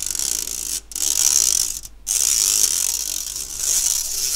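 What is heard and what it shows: A fingernail scratches the fine mesh of an empty, round stainless steel sieve held upright by its handle, making a dense, ratcheting rasp. The sound is bright and high-pitched, with almost no low end. It runs in three long scratching passes separated by two brief pauses.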